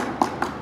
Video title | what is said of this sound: Skill Drill: Performing a Gear Inspection | if you hear a hollow spot or something that is not right, or you see any cracks on the outer shell, it needs attention